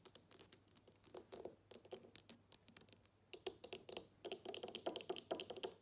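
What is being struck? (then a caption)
Small glass perfume bottle with plastic cap. Long nails tap and scratch a small square glass perfume bottle with a black cap, partly filled with liquid, working over both the glass and the cap. Quick, bright clicking taps with very short ring run in an irregular stream, mixed with faint scratching, all at a low level.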